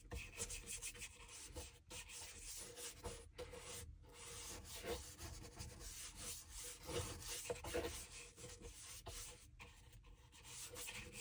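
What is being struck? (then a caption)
Leather shoe sole. A small bristle dauber brush rubs liquid into the solid leather outsole of a dress shoe held upside down, working near the waist and heel. It makes a steady, scratchy bristle rasp with bright hiss and a soft low body. The strokes are broken by a few brief pauses.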